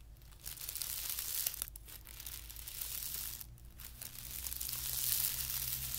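Fingertips scratch and rub a flat, thin white tissue paper sheet lying on carpet. This makes a continuous bright, dry crinkling and rustling that swells and fades, with brief quieter gaps. A faint steady low hum sits underneath.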